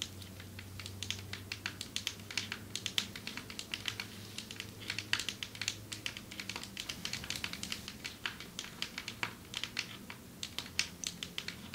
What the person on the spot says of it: Long nails tapping on marble table